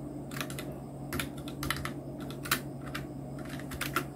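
Fingertips of both hands type on a full-size black plastic mechanical keyboard, a Nubwo Illusion NK-70 with Outemu red switches, round plastic typewriter-style keycaps and blue backlight. Bursts of quick, bright clacks ring out over a steady low hum, with sharper hits standing out near the middle and end.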